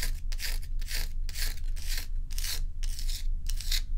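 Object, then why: Large ice block. Long acrylic nails scratch and rub the frosty face of a large, solid ice dome block held tilted. Bright, raspy scraping strokes repeat at a fairly steady pace of about two per second, with a constant low hum running underneath.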